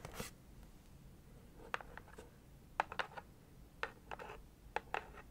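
Very long acrylic nails tap and scratch the lid of a closed, hollow leopard-print cardboard subscription box held in hand. About a dozen short, dry clicks and brief scratchy rasps stand out over a quiet background, with a bright, papery edge. Each tap ends almost instantly with no ring.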